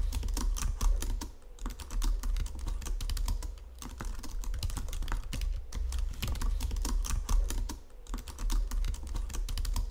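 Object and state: Plastic computer keyboard.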